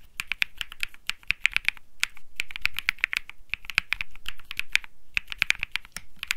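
A cream Think 6.5 mechanical keyboard with Bsun Lollipop switches and plastic keycaps is typed on continuously with fingertips. About 40 short, sharp clacks come in quick, uneven bursts, each with a bright click near 2.3 kHz over a low thock. Every press dies away almost instantly, leaving brief quiet gaps between runs.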